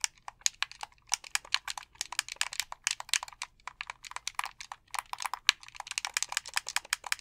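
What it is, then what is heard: Plastic game controller. A white plastic gamepad has its buttons tapped and clicked rapidly with thumbs and fingertips. The result is a dense, irregular stream of short, dry plastic clicks that are bright and high with almost no low end, each fading away instantly.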